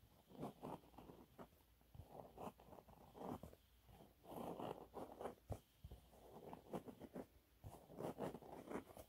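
Fingernails scratch a thin, flat, yellow textured cellulose sponge cloth. Quiet, dry rasping scrapes come in repeated short bursts, mostly in the low-mid range with a few sharper ticks between them.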